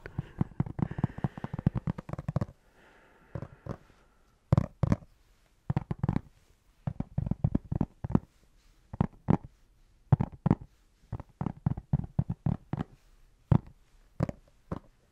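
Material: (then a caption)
Leather. A dice tray that looks like leather is tapped with quick, dull, low-pitched taps, very short with no ring. The taps come in irregular bursts and scattered clusters, with brief quiet gaps between them.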